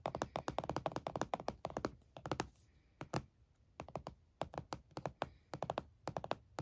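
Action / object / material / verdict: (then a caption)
tap / closed laptop in a plastic hard-shell case / plastic / none. One hand taps and drums its fingertips and nails on the lid of a closed laptop in a purple plastic hard-shell case resting on a towel. Rapid bursts of short, dry, hollow clicks and thuds die away almost instantly. Quiet pauses separate the bursts.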